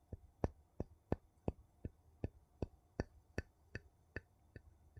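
The edge of a wooden scoop scrapes and taps along the rim of a ridged gold metal screw lid on a small empty glass jar. Thirteen short, dry clicking taps come at an uneven pace, each a crisp tick that dies away almost at once over a faint low hum.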